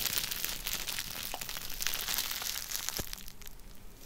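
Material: Plastic.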